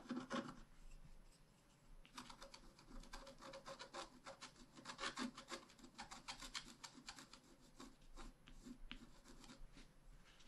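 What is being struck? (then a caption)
Black-coated scratch art paper card scratched with a wooden stylus. A wooden stylus scratches continuously across a thin, flat, black-coated scratch art paper card. The result is a steady, dry rasping and rubbing sound made of many short, bright scraping strokes.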